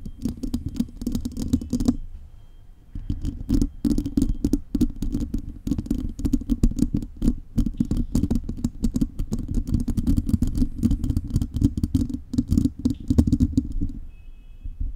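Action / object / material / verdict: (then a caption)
scrape / metal mesh microphone grille / metal mesh / none. Long nails of both hands scratch a bare silver metal mesh microphone grille, making dense, rapid scratching with a deep, rumbling low end. The scratching briefly drops away after about two seconds, then resumes steadily until it fades down near the end.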